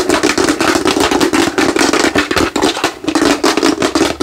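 Fingernails tap and scratch rapidly over the top of a hollow, translucent plastic light-up skull held close. The result is a dense stream of sharp clicks and bright scratching, carried on a hollow plastic tone. There is a brief lull near the middle before the fast tapping resumes.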